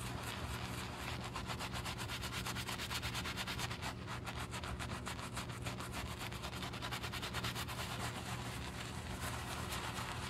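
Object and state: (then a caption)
Leather shoe being brushed. A wooden-handled horsehair brush scrubs foam over the heel and back of a black leather Gucci shoe. Quick, steady back-and-forth strokes make a continuous bright, scratchy swishing, with a faint low hum underneath throughout.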